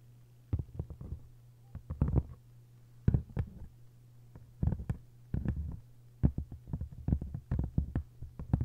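Long nails tap and scratch the paper jacket of a hardcover copy of 1Q84, making clusters of quick, soft, low-pitched taps and brief scratches. The clusters are separated by short pauses, and a steady low hum runs underneath throughout.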